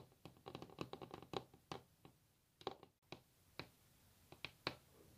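Long natural fingernails of both hands tap across a solid varnished wooden tabletop, making quick, dry clicks that die away almost at once. The taps come in uneven bursts with short pauses between them. Each click has a bright edge over a faint hollow wooden tone.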